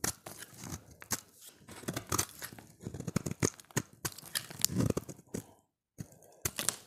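A solid, oval, light blue, dry bar of soap held in the hand is shaved with a utility knife blade, and flakes break off. Quick, crisp scraping and crunching strokes follow one another with bright, dry crackle and short, tight bursts, pausing briefly near the end before a few more strokes.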